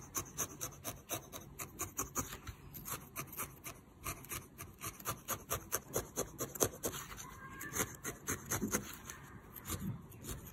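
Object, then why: Felted wool figure stabbed with a metal felting needle. A small, solid lavender-and-yellow shape of felted wool, held in the fingers, is stabbed over and over with a metal felting needle. Each stab makes a short, dry, scratchy poke with a bright rasping edge. Roughly three dozen quick jabs come in a steady, uneven rhythm.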